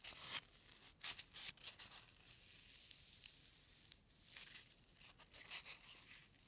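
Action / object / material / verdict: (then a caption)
scrape / foam packing peanut / polystyrene foam / none. A single small white solid foam packing peanut is bent and squeezed between thumb and fingers. The result is bright, squeaky rubbing and crinkling in quick bursts, with almost no low end and very short decay.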